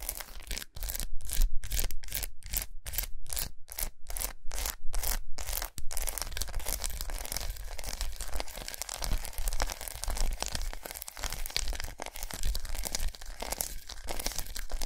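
A large unwrapped solid milk chocolate bar with raised squares, resting on a towel, is scratched and tapped with long nails. Quick, evenly spaced bursts of dry, bright scratching in the first six seconds give way to a continuous, dense crackle of rapid scratching and tapping, over a steady low hum.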